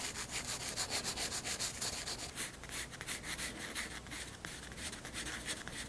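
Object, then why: Pencil graphite on a paper sketchbook page. A pencil held at a low angle rubs shading strokes across a white paper sketchbook page. It makes a steady run of quick, bright, papery scratching strokes with a soft grainy hiss and little low end.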